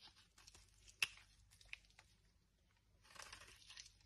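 A dry, solid blue oval bar soap with stripes, held in a hand with long red nails, is shaved with a metal knife blade, and brittle chips fall away. Quiet, bright crisp scraping and crunching fill the clip, with a sharp snap near the one-second mark and several smaller clicks. A denser stretch of scraping follows toward the end.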